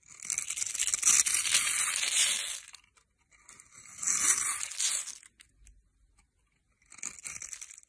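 A metal knife blade shaves and cuts a solid, hand-sized green soap bar held in the hand, scraping it into fine crumbly flakes. Three passes of dry, bright, gritty scraping are heard, with short pauses between them and almost no low end.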